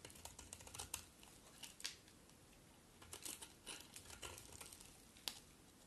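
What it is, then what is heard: Bar of soap being shaved. A solid cream-colored bar of soap, held in the hand, is shaved with a metal utility knife blade, and the scraping strokes peel off curled flakes. The strokes make quiet, bright, crisp scraping and crackling bursts with a few sharp clicks, separated by brief near-silent pauses.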